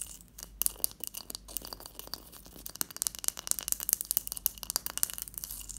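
A large, solid block of clear ice resting on a teal cloth is scratched and tapped with long, patterned acrylic nails. Dense, bright clicks and crackly scratches come quickly over a faint low hum, building denser and louder toward the end, with each tap dying away almost instantly.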